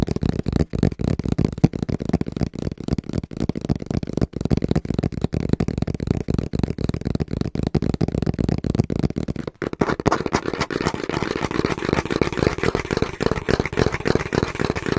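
Fingertips tap fast and rhythmically on the face of a small, brown, hollow cardboard box held against the chest. The result is a continuous run of dry, dull, low thuds with almost no ring. After about ten seconds the taps take on a slightly brighter, papery edge.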